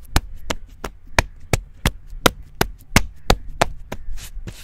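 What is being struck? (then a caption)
Living tree trunk bark. Fingertips and short nails rub and scratch the smooth grey-brown bark of a living tree trunk, about 15 to 20 cm thick and solid, outdoors in a field, right next to a microphone. Twelve short, sharp scratching taps land in a steady rhythm over a low hum, ending with a softer, hissy rubbing sound.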